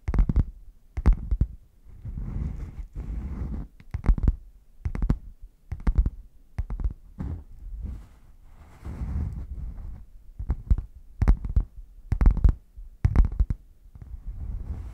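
Fingernails tap and scratch the front of a red, padded faux leather zip hard case, which is hollow, closed and gripped at the sides. Sharp, dull, low knocks with almost no ring alternate with softer, breathy scratching passages.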